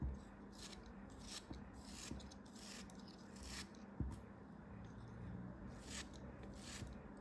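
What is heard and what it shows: A small, solid beige piece of kinetic sand, held in fingers with red nails, is cut with the tip of a craft knife while crumbs fall away. Quiet, bright, gritty rasps come in short bursts over a low, soft rumble, with an occasional dull tap.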